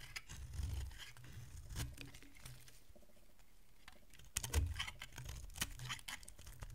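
A metal utility blade carves chunks from a solid oval bar of dry yellow soap held in the hand, making soft, crunchy scraping and crackling cuts with bright, crisp edges. A few louder, heavier cuts stand out over a low, muffled thud-like base, and each cut stops almost at once with no ring.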